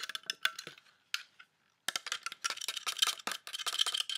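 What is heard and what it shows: Fingertips and nails tap and drum along the arm and end of a large, solid black plastic coat hanger held over a dark wool coat. The dry, bright clicks come in quick bursts, stop briefly, then return as a dense, rapid patter. Each tap dies away almost instantly.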